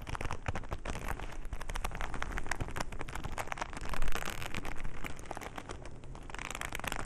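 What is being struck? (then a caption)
Leather glove. A black leather glove is held in both bare hands while fingertips squeeze, rub and scratch the leather. The result is a dense, continuous crackling and scratching texture with a deep, close low-end rumble, briefly swelling louder around the middle before settling back.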